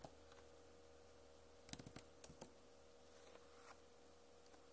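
Long nails tap on the plastic keycaps of a backlit Acer laptop keyboard, making a few sharp, bright clicks clustered in the middle of the clip. The clicks die away almost instantly over a quiet, steady low hum.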